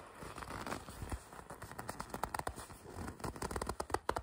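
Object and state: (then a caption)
Leather jacket being gripped and rubbed. Long red nails and fingertips pinch, grip and rub the sleeve of a red leather jacket, producing soft, dry scratching and crinkling. Quick, crackly creaks and squeaks come in clusters that grow sharper and more frequent toward the end.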